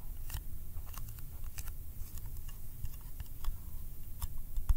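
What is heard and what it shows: A small round yellow metal candy tin with a printed lid is held in the fingers and tapped with the fingertips and nails. The result is a quick, uneven run of light, sharp clicks that die away almost at once, over a low, steady rumble.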